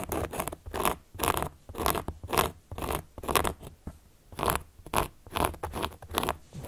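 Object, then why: Cork board. A carving tool, held upright by long nails, traces and scratches across the surface of a large, round, solid cork board. The result is a quick series of raspy, broadband scratching strokes at roughly two per second in an uneven rhythm, each with a bright, gritty edge around a faint 1 kHz tone and quiet gaps in between.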